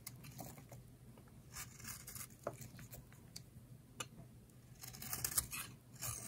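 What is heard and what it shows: A solid rectangular green bar of dry soap, held in the hand, is carved with a utility knife blade, shaving off curls. Quiet, dry scraping and crisp tearing strokes come in short bright bursts over a low steady hum, growing denser toward the end.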